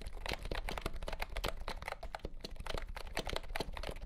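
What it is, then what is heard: Plastic compact keyboard. Fingertips type steadily on a compact pastel green plastic keyboard with round keycaps and a hollow body, under green light. The result is a rapid stream of short, dry, clacky keystrokes with bright clicky edges and almost no ring, over a steady low hum.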